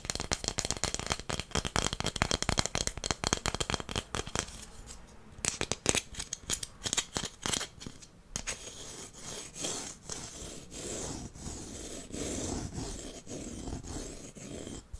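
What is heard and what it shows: A long, flat, solid wooden incense holder with inlaid stars is held in the hands and scratched and rubbed along its surface with fingernails. Quick, bright, dry scratching clicks come first, then thin out into sparser scrapes. After that comes a softer, steadier rubbing hiss with occasional ticks.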